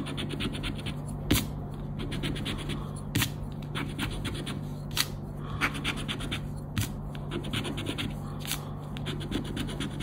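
A round black plastic scraper rubs across the scratch-off grid of a thin coated-paper Recompensa scratch card lying flat on black cloth. Rapid, irregular scraping strokes sound bright and papery, with sharper scratches standing out now and then over a steady low hum.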